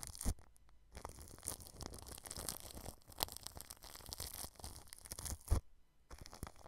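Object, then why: Plastic cling film wrapped over a microphone. A paintbrush brushes clear plastic cling film wrapped over a white microphone, rubbing the film along the grille edge. The result is a steady, crinkly scratching and rustling with bright crackle on top of a heavy low rumble, broken by a couple of sharp louder bumps and a few short pauses.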